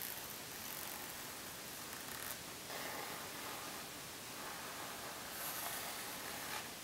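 Long nails scratch along the top edge and face of a rose gold pebbled faux leather zip makeup pouch lying flat on a table. The result is a quiet, continuous, bright scratchy hiss with little low end and no distinct taps, gently swelling and easing as the nails move.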